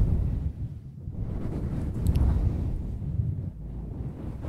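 A small, soft, fluffy grey synthetic-fur windscreen on a handheld recorder mic is rubbed and scratched with both hands using long acrylic nails. The result is a steady, muffled, low rumbling rustle concentrated in the deep bass, rising and dipping slightly as the nails drag through the fur.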